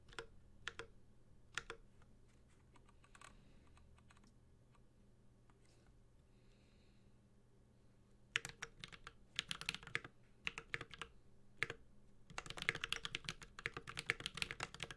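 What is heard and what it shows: A Space65 Cybervoyager 65% mechanical keyboard with an aluminum case, Holy Panda switches and plastic keycaps is typed with the fingertips at a slow pace with pauses. A few scattered bright, short key taps at the start give way to a quiet stretch. Denser bursts of crisp clacks then pick up and finish in a quick flurry of keystrokes.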